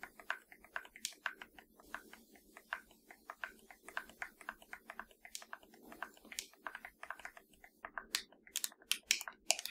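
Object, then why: Plastic game controller. Long nails tap and scratch along the hollow top edge of a black plastic PS4 controller. About 29 quick, quiet, bright clicks come in an uneven run, mixed with soft scratching, and each tap dies away almost instantly. The last few taps are sharper and louder.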